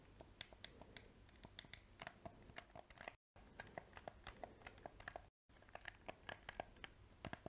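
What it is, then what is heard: Plastic game controller. A small, hollow black PS4 plastic controller has its buttons clicked and its shell tapped with painted fingernails. The result is a quiet stream of quick, dry plastic clicks and taps with a hollow tone near 700 Hz and bright edges, each dying away almost instantly. Two short silent breaks interrupt the sound.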